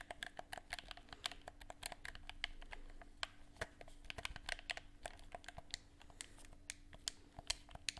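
Fingertips click the buttons of a handheld, hollow black plastic gamepad and tap its shell, producing a rapid, uneven stream of sharp, bright plastic clicks and taps. A faint, steady low hum runs underneath the clicks throughout.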